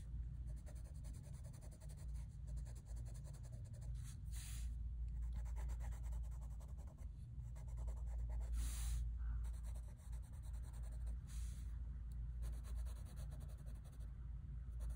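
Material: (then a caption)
Paper. A light-blue wooden colored pencil, gripped in the fingers, scratches and rubs across a large, flat sheet of drawing paper in a sketchbook while coloring in hair. Quiet, steady back-and-forth strokes run throughout over a low, constant hum, with a few brief bright bursts of scratching.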